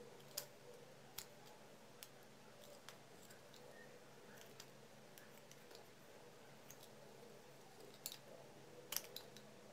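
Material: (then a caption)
Soap. An orange utility knife shaves and carves thin slices from the edges of a hand-sized, solid pale-green bar of Palmolive-type soap held in the palm, while fingertips rub the carved surface; other soap bars lie nearby untouched. Quiet, sharp, bright clicks and crisp scraping snaps rise at irregular intervals over a soft, steady hiss, each dying away almost instantly.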